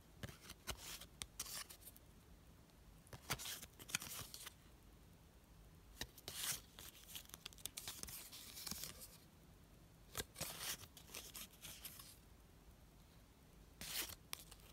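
Fingertips with long decorated nails flip through a small stack of thin, flat, solid printed paper die-cut stickers and rub their edges. Short bursts of bright, crisp rustling and scratchy scraping come in clusters with quiet pauses between, over a faint low hum.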